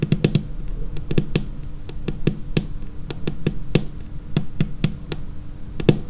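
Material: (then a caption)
Laminate. Long painted nail tips tap a large, solid, dark laminated tabletop in an irregular series of quick, clicky knocks. Each tap is short and dry with a low, woody body around 148 Hz and a faint bright tick, over a steady low hum between taps.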